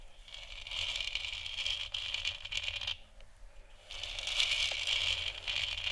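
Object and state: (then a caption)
Plastic moon lamp. Long nails tap and scratch across the top and sides of a large, hollow, textured plastic moon lamp sphere that is lit white. The result is a dense, bright, crackling patter with a hollow plastic tick, centered near 3 kHz. It eases briefly around the middle, then returns just as busy.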